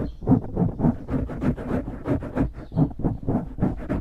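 Fingertips scratch and squeeze a dark grey foam windscreen on a microphone, making a quick, uneven run of soft, muffled rustling bursts. The sound is close and heavy in the lows, with dull thumps and crackly brushing and no bright ring.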